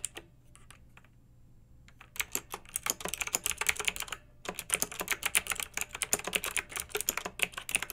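Fingertips with long nails type on a pink backlit plastic mechanical keyboard with round, typewriter-style plastic keycaps. A few sparse, quiet taps give way to quick, bright, clicky keystrokes, which pause briefly and then resume in a steady stream.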